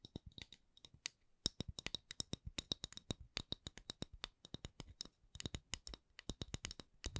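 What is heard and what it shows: Long acrylic nails tap and scratch a solid, palm-sized round wooden candle lid with a printed logo. Dozens of sharp, dry clicks come in an uneven run of slower and quicker taps. Each has a bright tick over a soft low knock and dies away almost instantly, all at a quiet level.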